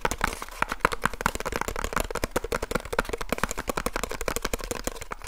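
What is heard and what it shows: Fingertips rapidly tap the flat face of a small, hollow cardboard light bulb box held in both hands close to the mic. The result is a dense, continuous stream of short, dry, hollow knocks with a papery midrange tone and almost no ring.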